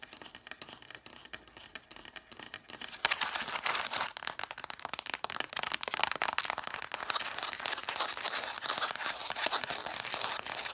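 Long nails and fingertips tap fast on the spines of a solid stack of red cloth-bound vintage hardcover books, stacked with their spines forward. The first few seconds are quick, dry, clicky taps, then denser, brighter scratching on the cloth takes over. The whole clip is crisp and high with almost no low end.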